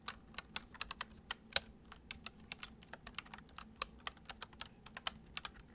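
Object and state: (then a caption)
Plastic computer keyboard. Fingertips of both hands type fast on a full-size white plastic computer keyboard with hollow keys resting on a wooden desk. About 27 quick, bright, clicky taps come in an uneven run, each dying away almost instantly with little low end.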